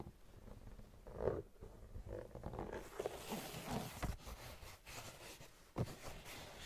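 Long painted nails scratch across the tread of a brown patterned rubber outsole on a white sneaker held facing up. The result is a quiet, uneven run of low, rough scraping strokes with a few sharper ticks standing out, each dying away quickly.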